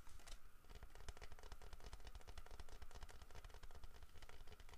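Fingertips tap rapidly on the head and body of a large, solid carved wooden bear figurine with a fish in its mouth, held in a hand. The result is a steady stream of quiet, short, dry knocks, mostly low and dull, with faint brighter clicks.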